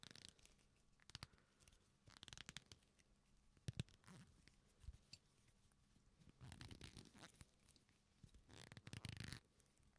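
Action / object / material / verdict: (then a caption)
scrape / leather belt / leather / none. A black leather belt with a flat, solid strap is pulled taut, then folded and rubbed between the fingers. It gives quiet, creaking, stretching sounds in several separate bursts of sharp crackles and rustling friction. Gaps of near-silence fall between the bursts, and the sound carries a low body under a bright crackle.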